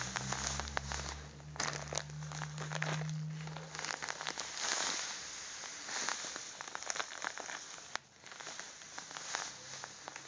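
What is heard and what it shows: A small, apparently full soft plastic bag of União sugar is held in both hands and squeezed and crinkled with the fingertips. Dense, bright crackling and rustling continues throughout, with a low hum under the first few seconds.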